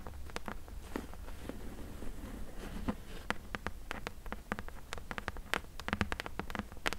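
Long nails tap and scratch along the top edge and side of a closed, hollow corrugated cardboard box. Quick, dry, bright clicks with very short decay come in irregular bursts over a soft, low rumble and faint scratchy texture.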